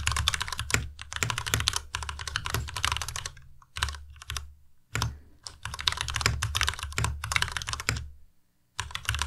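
A white compact Ducky Miya Pro mechanical keyboard with plastic keycaps is typed on continuously with the fingertips of both hands. Rapid bright, clacky keystrokes with a low thump underneath come in bursts separated by short pauses, and the typing stops near the end before resuming briefly.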